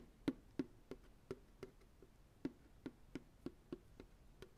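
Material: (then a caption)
Plastic. Fingertips and nails tap the base and sides of a hollow, empty, medium white plastic ice cream pail held sideways. Twelve short, dry, hollow taps with a low-mid pitch sound at an uneven pace of roughly three per second, each dying away almost instantly.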